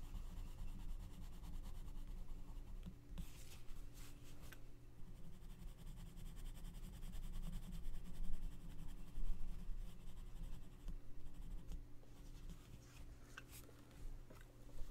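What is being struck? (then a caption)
Paper coloring book page rubbed with a wooden colored pencil. A gloved hand scratches and rubs the tip of an orange wooden colored pencil across a mandala page in an open paper coloring book lying flat. Soft, uneven scratching and rubbing strokes sit over a steady low hum, with a few brighter bursts of scraping throughout.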